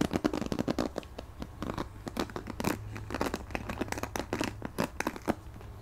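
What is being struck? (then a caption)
Plastic paddle hairbrush bristles. Fingertips scratch and strum over the ball-tipped plastic bristles of a purple plastic paddle hairbrush with a cushion pad, held in the hands. A rapid series of short, dry, crackling clicks and scratchy bursts rises and falls, with a faint steady low hum underneath.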